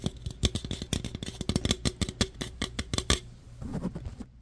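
Fingernails tap and scratch the sides and top of an opened, hollow aluminum root beer can, making a quick run of sharp, bright clicks over a low, hollow tone. After about three seconds the tapping gives way to softer scratching that fades out.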